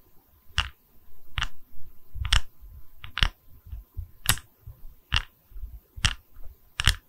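Long red nails tap and scratch the cut face of a small, solid, round wooden log slice coaster with visible growth rings, held in both hands. Ten short, sharp, bright clicks ring out at a slow, uneven pace, with soft low scratching and rubbing filling the gaps between them. Each tap dies away almost at once.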